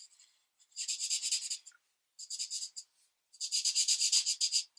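A marker tip colors a thin paper coloring book page lying flat on a desk, rubbing across it in continuous back-and-forth strokes. The scratchy, bright swishes come in three main bursts of quick, rhythmic strokes, about four per second, separated by short silences. The sound is all high hiss with no low end.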